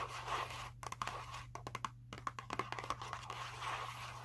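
Long nails tap and scratch a small Skittles cardboard box that appears full of candy while it is held in the hands. Soft scraping opens and closes the clip, with a run of about 15 crisp, short taps in the middle over a steady low hum.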